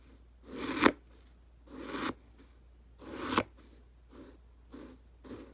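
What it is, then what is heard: Dry fish food pellets stirred in a plastic jar. A thin black stick pokes and stirs dry round fish food pellets in a small clear plastic jar, full and with the lid off. Three gritty rustling swells each build and end in a sharp click, followed by softer, shorter scratchy bursts. The sound is dry and crisp, with little low end.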